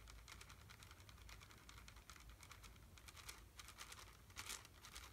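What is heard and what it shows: A small, full red plastic candy bag is held in one hand and tapped quickly with fingertips and nails. The clip is a quiet, rapid patter of crisp, bright crinkly clicks over a steady low hum, with a few louder taps near the end.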